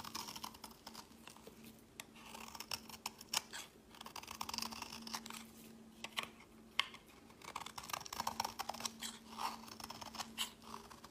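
A metal box-cutter blade shaves soft curls off the edge of a green, solid rectangular bar of soap held in the hand. The result is a quiet, steady stream of crisp, bright scraping and crackling ticks in short bursts, with a faint, constant low hum underneath.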